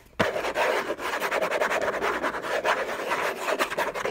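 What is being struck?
Rigid cardboard box.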